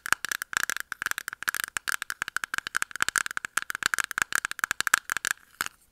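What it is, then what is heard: Clear plastic makeup puff container. Long nails tap rapidly on a small, closed, round clear plastic container of pink makeup puffs held in both hands, producing about 36 sharp, dry clicks. Each click carries a hollow plastic tone near 1.6 kHz with a bright edge, cutting off almost instantly with no ring. The taps come in quick, uneven bursts and trail off near the end.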